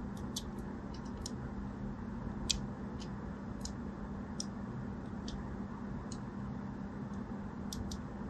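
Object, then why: Striped bar of soap. A small blade, guided by fingers with long orange nails, scores diagonal lines into a solid purple and white striped bar of soap held in the hand. Short, bright scratchy clicks and ticks come at irregular intervals over a steady low hum. Each cut is crisp and dies away almost instantly.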